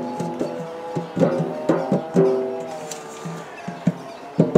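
Fingertips drum on the lid and gold base of a large, round, hollow metal biscuit tin. The result is a quick run of short, dull taps with a hollow, low-to-mid metallic tone around 390 Hz, a few of which ring on briefly before fading.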